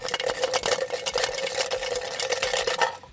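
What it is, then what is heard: Tin can shaken with gravel inside (rattle). A tin can with gravel stones inside is shaken, imitating the rattle a car's loose rack and pinion made on rough roads. Dense, bright, metallic rattling clatters continuously for about three seconds with a steady ringing tone around 500 Hz, then fades at the end. The rack's rattle was fixed by replacing the bushing and plunger.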